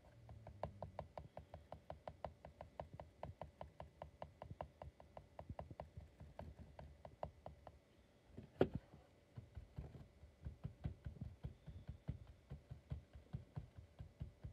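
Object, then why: Plastic computer mouse. Fingertips tap and rub the shell of a hollow, black textured plastic computer mouse resting on a mouse pad. Quiet, dull, short clicks come in quick, irregular runs, with a brief pause and one sharper tap just after the eight-second mark. The tapping then resumes in the same light patter.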